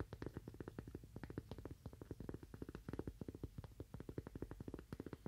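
A thin, solid, toast-shaped cork coaster, held in one hand, is tapped quickly with fingernails on its face and edge. The result is a rapid, steady stream of soft, dull, low taps that stop dead with no ring.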